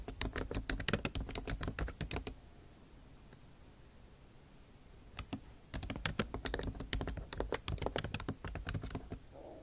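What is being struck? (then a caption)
Laptop keyboard with plastic keys and aluminium body. Both hands type with the tips of long acrylic nails on a backlit MacBook Pro keyboard, tapping its low-profile plastic keycaps set in a silver aluminum body. Rapid, sharp, bright clicks patter irregularly for about two seconds, then stop for nearly three seconds of near silence. The tapping resumes and continues in a steady, uneven flurry to the end.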